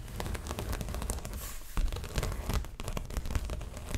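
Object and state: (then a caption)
Stretched canvas print scratched and tapped. Long nails scratch and tap across the surface of a stretched canvas dreamcatcher art print on a frame, with both hands working while the canvas is held up. A dense, dry scratching texture runs throughout, punctuated by soft, dull taps that resonate low in the stretched canvas and stop short with no ring.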